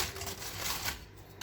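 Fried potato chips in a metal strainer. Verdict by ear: Crispy.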